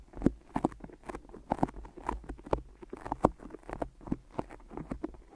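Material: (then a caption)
Adhesive tape. Fingertips tap and peel on the sticky tape wrapped around a pair of microphone ears, making a quick, irregular series of soft, muffled taps. Each tap is short, dull and low-mid in tone, with faint tacky peeling between the hits and almost no bright edge.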